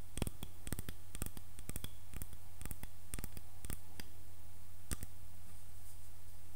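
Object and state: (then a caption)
Wooden hairbrush, solid. Fingernails scratch and tap along the handle of a solid, light wooden hairbrush, then move toward its head, possibly touching the bristle side at the end. Sharp, bright clicks and taps stand out over a steady low hum, with brief rustling scratches between them.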